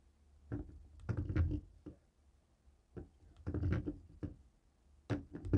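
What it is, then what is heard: Plastic TV remote. A jade roller stone taps and rolls across the buttons of a dark grey plastic cable TV remote resting on a wooden table. It makes soft, low, muffled clicks and rattling taps in three short bursts, each dying away quickly, with brief quiet gaps between them.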